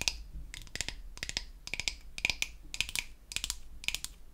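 Long acrylic nails tap and scratch the surface of a flat, solid, pink-painted wooden toy facial cleansing brush. The result is a rapid run of dry, bright clicks with a scratchy texture that stop almost instantly, over a quiet background.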